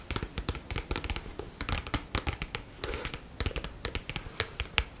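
A medium-sized black paperback book with a matte card cover, held in both hands, is scratched and tapped on its back cover with long nails. The result is a quick, uneven run of short, dry taps and bright scratching strokes, each dying away almost at once, with a soft low thump under the taps and a brief rougher scrape partway through.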